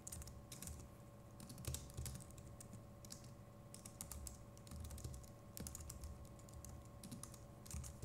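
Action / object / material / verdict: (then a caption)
tap / plastic computer keyboard / plastic / none. Fingertips of both hands type steadily on a compact Logitech MX Keys Mini keyboard with plastic keycaps, producing soft, rapid clicks and bright ticks. The clicks ride over a constant low rumble and a faint steady hum.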